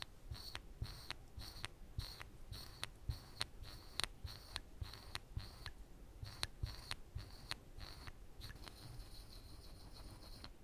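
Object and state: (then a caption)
Plywood board being scratched. A woodburning pen's wire tip is scratched along the teeth lines of a skull drawing on a flat, thin plywood panel. It makes a steady series of short, dry scraping strokes, each with a bright, high hiss, over a faint low rumble. Between strokes there are brief quiet gaps, and the last few seconds fade into a thin, continuous high whine.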